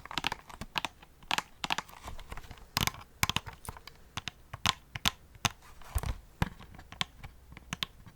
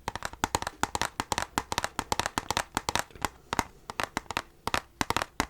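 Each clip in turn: First: Quick, bright clicky taps with no ring, the thin dry snap of a brittle plastic disc case. Second: Fast fingertip taps on thin steel give bright, tinny clicks near 900 Hz that die almost instantly.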